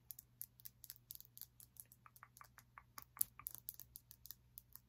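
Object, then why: Small glass crystal block tapped with fingernails. A small, solid, clear glass crystal block or prism is held in the hand and tapped and scratched with long nails, making about 26 quick, bright, dry clicks with almost no ring. The clicks come in an uneven rhythm over a faint low hum.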